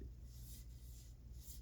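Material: Nothing is struck.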